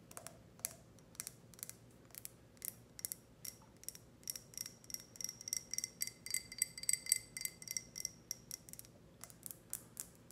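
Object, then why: Glass tumbler. A tall, clear, empty ribbed glass tumbler with a grid pattern, held sideways, is tapped and scratched with long red nails. About 37 quiet, bright, sharp clicks fall in an irregular rhythm, with almost no low end. Through the middle the scratching draws out faint, high, glassy ringing tones with a band near 2 kHz.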